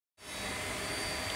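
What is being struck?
Nothing is struck.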